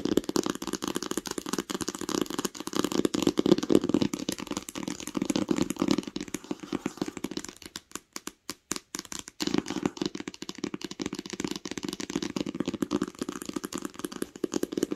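Long nails tap rapidly and continuously on the cover of a green cloth-covered hardcover book lying flat, making dense, dry, muted clicks with a dull low-mid body and almost no ring. The tapping thins to a few scattered taps around the middle before resuming its steady flurry.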